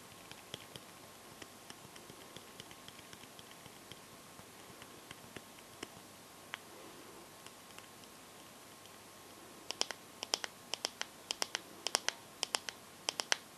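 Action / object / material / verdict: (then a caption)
tap / smartphone glass back tapped with fingernails / glass / none. Long gold nails tap the glossy glass back of a bare teal Samsung phone with no case. About 37 short, bright clicks with almost no ring sound over a faint steady hum. They start soft and sparse, then grow louder and quicker in the last few seconds.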